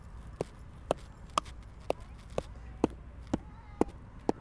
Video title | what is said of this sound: Tree Health - Sounding a Tree With Rubber Mallet | totally solid down here